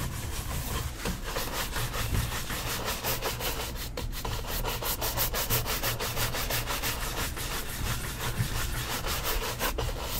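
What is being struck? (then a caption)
Leather shoe brushed with a horsehair brush. A tan leather cap-toe dress shoe, fitted with a wooden shoe tree and set on a stand, is brushed briskly with a wooden-backed horsehair shoe brush. Quick, steady back-and-forth strokes make a continuous rubbing, scratchy swish over the leather, with bright bristle hiss above a low rumble, at an even level for the whole clip.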